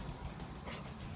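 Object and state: Nothing is struck.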